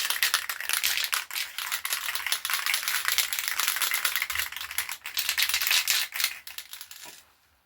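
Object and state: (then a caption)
Spray paint can being shaken. A metal aerosol spray paint can, a rattle can, is shaken before use to paint a part. It makes a dense, continuous run of bright, rapid rattling clicks from the mixing ball, which fade out near the end.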